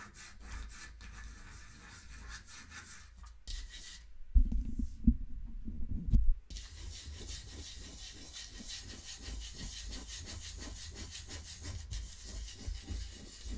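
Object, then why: Wooden mantel clock case. Long nails scratch slowly along the wooden grain on the back of a small wooden mantel clock with a metal ring pull, standing on a pink pouch. The sound is a steady, soft rubbing rasp in repeated strokes over a low rumble. Midway it briefly drops to a few louder, dull knocks before the scratching resumes.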